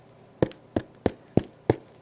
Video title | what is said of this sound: How to Make No-Knead Sourdough Bread Using the Stretch and Fold Method - Stretch and Fold Sourdough | Hear that? Nice hollow sound means it's well baked and it's finished.